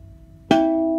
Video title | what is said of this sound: WHAT T5 Trans is STRONGER!? 2.3 vs. 5.0 Differences. Lets take a look inside! Fox Body Mustang | nice little bell sound so I'll tell you right there cuz aluminum will have a dead sound